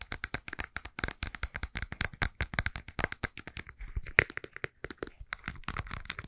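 A white plastic cosmetic tube with a round cap is tapped on the cap with fingernails, then squeezed and crinkled in both hands. About 40 quick, dry, bright clicks come in a fast, uneven stream, each dying almost instantly. Softer crinkling rustles follow between the taps.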